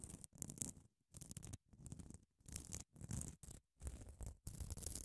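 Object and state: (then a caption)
Grit-coated foam nail buffer block. Long acrylic nails scratch and tap the gritty face of a small grey grit-coated solid foam nail buffer block held in one hand. The sound comes as a series of short, rough, scratchy bursts with brief pauses between them, dense in the low end with a bright hiss on top.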